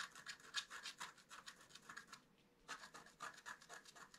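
A wooden stylus scratches leaf veins into a flat, black-coated scratch-art card. Quick, bright, scratchy strokes come in a steady run, pause briefly near the middle, then resume at the same brisk pace.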